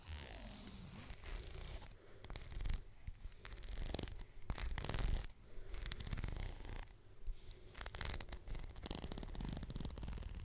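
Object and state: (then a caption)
Leather belt. Long nails scratch and tap the strap of a black leather belt draped up beside the microphone, its end held at the top. Close, rough scratching alternates with brief crisp taps and bright bursts, all over a steady low rumble.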